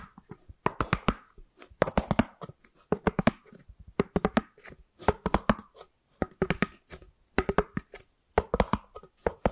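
A white, ribbed, round styrofoam lid is held in one hand next to the microphone and tapped and scratched with long nails. Quick bursts of dry, hollow taps and squeaky scratches come in rapid clusters with short pauses between them, each hit dying away almost instantly.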